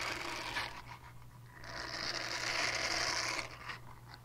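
A small purple silicone cleansing pad has its textured side scratched with long nails, making a bright, rapid scratching and rasping sound. The scratches come in quick, fairly regular strokes over a low steady hum. The noise swells to a dense, sustained scrape in the middle before easing off.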